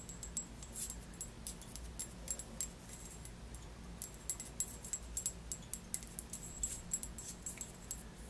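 Long nails tap repeatedly on a tall glass bottle, held in the hand, full of orange Melonat liqueur with a paper label. The result is a quiet series of quick, bright clicks with a faint high glassy ping over a low background hum.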